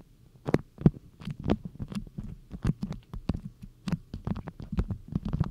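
Long nails pinch, scratch and rub a stiff printed beeswax cotton food wrap folded into a cone shape, crinkling the waxed cloth close up. The sound is a rapid series of soft, dull crackles and taps, mostly low and muffled with brief brighter snaps, over a faint low hum.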